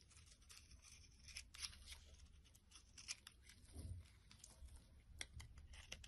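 A utility knife blade shaves a flat, solid, light blue soap bar held in the palm into flaky chips. The result is a quiet, steady series of dry, bright scraping and crinkling strokes with short crisp peaks over a low rumbling bed.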